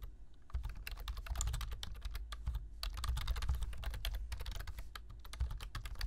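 Fingertips type continuously on a black plastic computer keyboard, tapping the keys. Quick, dry clicks with bright tops come in a fast, uneven stream after a short quiet start, over a steady low rumble.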